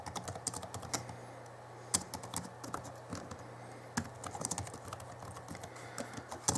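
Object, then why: Plastic laptop keyboard. Fingertips of both hands type on the backlit plastic keys of a small 2011 Alienware M11x2 laptop keyboard. A rapid, irregular run of short, bright plastic clicks plays over a steady low hum. A few sharper, louder key strikes stand out, and each click dies away almost at once.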